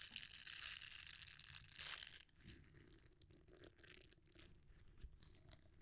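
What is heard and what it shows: A red silicone bristle scrubber is rolled up and then flattened, as fingertips squeeze and rub it. For about two seconds there is a dense, bright, crinkly rustle, which then drops to a quieter, softer rubbing with scattered light ticks.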